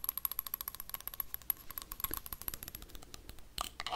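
A small, empty, hollow clear glass jar with a dark lid is scraped and tapped with metal paperclips. The result is a fast run of sharp, dry clicks and scratches with a bright, high metallic ring. The taps come in a quick, uneven rhythm, and a louder rattling burst comes near the end.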